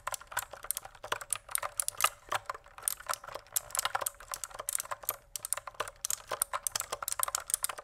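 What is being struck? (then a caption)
Plastic mechanical keyboard keys. A pink plastic mechanical keyboard close up, its keys pressed with fingertips in a steady stream of fast typing. Dozens of short, crisp clicks and clacks with a bright top end and almost no low rumble, each dying away almost instantly.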